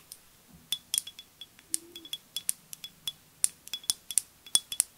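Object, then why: Glass perfume bottle. Long nails tap and scratch a flat, rectangular, green-tinted glass perfume bottle with liquid inside, held in both hands. About twenty quick, bright clicks come in an irregular series, each a sharp high-pitched tick with a faint glassy ping around 3.4 kHz that dies away almost at once.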